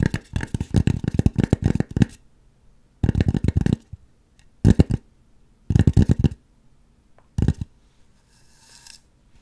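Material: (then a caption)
Polystyrene foam. Long nails scratch across the back of a white polystyrene foam mannequin head in stop-and-start bursts. The result is dry, rapid, rasping scrapes with a heavy low thump and bright crackly edges, separated by short silences. The clip trails off into a faint, soft hiss.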